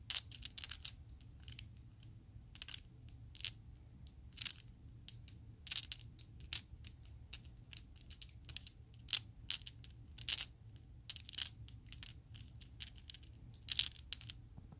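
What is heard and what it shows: A set of small, solid purple Chessex plastic polyhedral dice is jostled and shaken in the hand so the dice click together. The result is a quiet, irregular series of many short, bright clicks that die away almost instantly, with a few louder clusters over a faint low hum.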